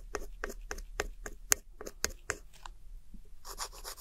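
A metal pick scratches and rubs the loose pressed powder of crumbled blue, beige and brown eyeshadow in a round plastic compact palette held steady by one hand. About ten short, bright, gritty scrapes come in a loose rhythm, then give way to a continuous hissing rub at the end.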